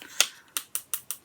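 Five sharp, bright taps land on the glass pane of a small thrifted 3x3 picture frame with a plastic body. Each is a dry, high-pitched click that dies away almost instantly. The pane is confirmed to be glass.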